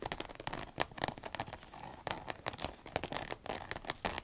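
Long red nails scratch, tap and squeeze a small, hollow, empty-looking cylindrical green vinyl zip pencil case. The result is a dense, quiet run of sharp crinkly clicks and soft scrapes with bright edges and no ringing.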